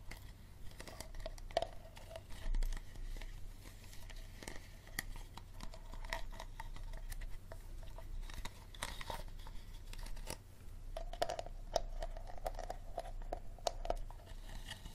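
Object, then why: Plastic water bottle. Fingernails tap and scratch the labeled body of an empty, hollow clear plastic water bottle held sideways. Quiet, dense crinkly scratching mixes with many short, dry taps that carry a faint hollow tone around 660 Hz over a low steady hum.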